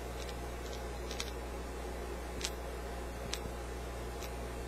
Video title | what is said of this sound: Bad Vacuum Tube - Unusual Problem | when I just roll it around here something loose inside